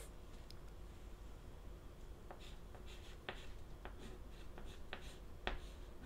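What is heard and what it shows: A stick of white chalk held in the fingertips writes on the lower part of a flat, solid, wooden-framed black chalkboard. Quiet, steady scratching strokes are punctuated by short, sharp ticks with bright edges, over a low background rumble and a faint steady hum.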